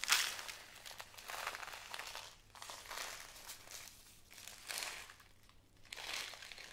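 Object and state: Bag of glass beads being crinkled.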